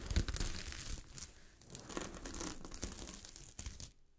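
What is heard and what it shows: A sheet of fabric covered with small gold sequins is scratched and brushed against the grain by long fingernails. This makes a dense, crinkly, tearing-like rustle of quick, irregular bursts, bright on top with a soft low rumble beneath. The scratching quietens in the middle, picks up again, and stops abruptly just before the end.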